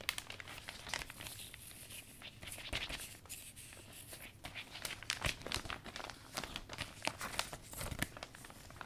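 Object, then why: Thin vinyl umbrella canopy. A closed, thin iridescent vinyl umbrella canopy is held and stroked along its folds by hand and fingertips. The plastic gives off a quiet, bright crinkling rub, dotted with short, sharp crackles throughout.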